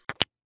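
Two hardtack biscuits are tapped together like a toast, giving two short, dry, bright clicks, the second louder than the first. The clicks are sharp and high with almost no low end and die away almost instantly, sounding hard.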